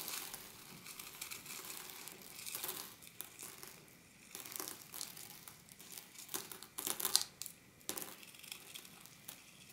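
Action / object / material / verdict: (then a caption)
scrape / small quartz pebbles in a glass dish / quartz stone / none. Fingertips dig into and rake through small rounded quartz pebbles and gravel filling a rectangular glass baking dish, rubbing the stones together. The result is a quiet, bright, gritty rustle of clicking and grinding stones, with a sharper burst of clatter near the seven-second mark.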